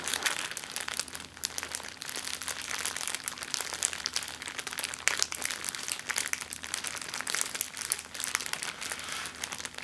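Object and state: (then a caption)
Plastic zip-lock bag crinkling. An empty clear plastic zip-lock bag is pressed flat, then rolled and squeezed in both hands with long-nailed fingers. It gives a steady run of bright, dense crinkling with sharp crackles and almost no low end. Faint low hums sit underneath throughout.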